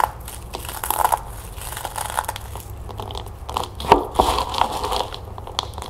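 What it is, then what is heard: Puffed corn cereal balls, dry and crunchy. A handful of small, dry, crunchy, hollow-ish chocolate puffed corn cereal balls is crushed and rubbed between fingertips with long painted nails over a plastic bowl. Soft crinkling crunches and brittle crackles come in clusters, with a few sharper snaps and a bright, hissy edge. Crumbs fall into the bowl.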